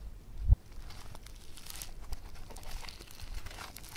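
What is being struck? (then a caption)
Foam bead clay. Fingers squeeze and pull apart a blue floam, a multicolor foam bead clay with pink and green beads. A low thump near the start gives way to steady, soft crackling and crinkling with bright, fizzy pops throughout.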